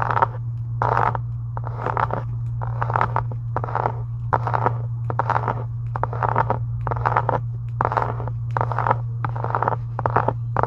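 Long acrylic nail tips scratch and tap the upper cover of a closed, pink, embossed faux leather journal resting on a desk. Short, rhythmic bursts of scratchy, papery friction centred around 1 kHz repeat roughly every half second, with light taps mixed in. A steady low hum runs underneath throughout.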